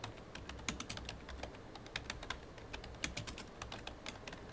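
Both hands type rapidly with their fingertips on a full-size black plastic computer keyboard. The result is a quick, uneven stream of short, sharp, bright key clicks with light, hollow plastic taps underneath, each dying away almost instantly over a quiet background.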